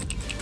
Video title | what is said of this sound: 2008 Jeep Wrangler 3.8l: PCV Valve Replacement, Possible Red Lighting Bolt Repair. | you can shake it back and forth and hear it